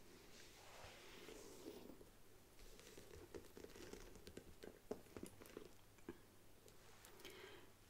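Long nails and fingertips tap and scratch the front and sides of a medium black faux leather handbag with a gold print, standing on an upholstered ottoman. The bag is hollow, and its fill is not visible. The result is quiet, soft scratching broken by short, dry, mid-pitched taps that die away at once.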